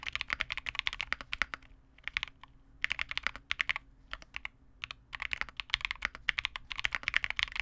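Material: Plastic.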